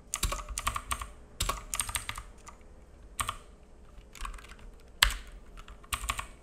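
Fingertips of both hands type on a black full-size mechanical keyboard with plastic keycaps and a hollow case, resting on a wooden desk. Irregular bursts of crisp, bright key clacks with a low thud beneath each tap die away almost instantly, separated by brief pauses.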